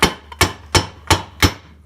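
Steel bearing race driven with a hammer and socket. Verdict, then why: Seated. A steel bearing race on a Honda Recon ATV is driven in with a hammer striking a 1 1/8 socket. Six sharp, short metallic knocks are heard, one of them light, and they take on a dull tone as the race bottoms out, showing it is fully seated.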